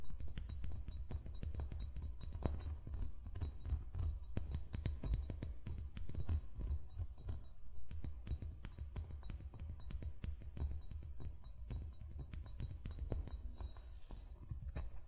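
Fingertips tap and scratch the hollow body of an amber (brown) glass wine bottle lying on felt, holding it steady at the neck. A dense, continuous run of quick, dull low thuds is heard, with faint bright clinks and scratchy glassy ticks. Each tap dies away almost at once.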